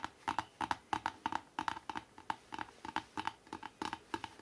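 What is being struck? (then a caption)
Hardcover book cover. Fingertips tap quickly and lightly scratch the front cover of a hardcover book. About two dozen short, dry taps land in an uneven rhythm, each with a hollow knock centered near 940 Hz, a faint bright edge and almost no ring.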